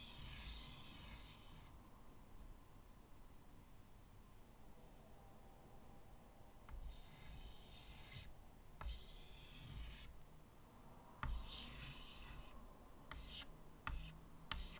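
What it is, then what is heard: Chalk drawing on a chalkboard. White chalk draws on the upper right of a medium, flat chalkboard with a wooden frame, producing bright, hissy scratching strokes in bursts separated by quieter pauses. Short, sharp taps punctuate the strokes over a steady low hum.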